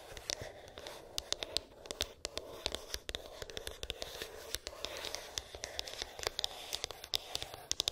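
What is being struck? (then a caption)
Small rigid cardboard box. A small, closed, rigid cardboard iPhone box with a glossy printed top is tapped and scratched with long acrylic nails. Sharp, bright clicks scatter irregularly over a soft, steady scratching hiss for about eight seconds, with almost no low end.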